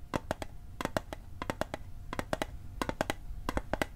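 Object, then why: Small thin sheet-metal mint tin. A small hollow metal Altoids mint tin, held on its edge, is tapped on its sides and edge with fingertips and nails. Twenty quick, dry taps arrive in small rhythmic clusters, each a short metallic tick with a faint mid-pitched ring that dies almost at once.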